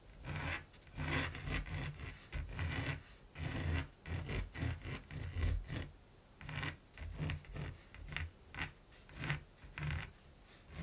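A mechanical pencil tip rubs and scratches line strokes across a large, flat primed canvas while drawing a raven. Short, quiet bursts of dry rasping come in an irregular rhythm, each with a soft low rumble under a bright scratchy hiss. Brief pauses separate the strokes.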